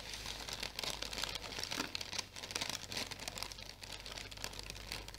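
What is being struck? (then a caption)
Tissue paper package. Long painted nails scratch and crinkle the surface of a sheet of orange tissue paper wrapped into a flat package and held up. The result is a dense, continuous stream of bright, crisp crackles and scratchy rustles with quick papery bursts and little low end.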